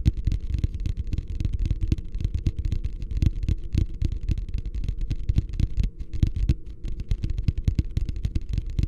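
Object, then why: Upside-down plastic wastebasket. Fingertips drum and tap rapidly on the bottom of a medium beige plastic wastebasket, hollow and empty and held upside down. The result is a steady stream of short, hollow, low thumps that die away almost instantly, with a faint brighter click on some of the taps.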